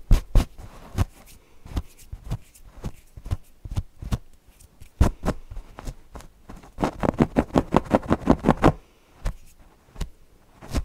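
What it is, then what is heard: Cotton fabric owl cushion being scratched. Fingernails scratch across the fabric face of a stuffed cotton owl cushion in a series of short, dry, irregular strokes. A quicker run of rapid scratches comes near the end before a few last scattered ones. Each stroke is brief and soft, with little ring after it.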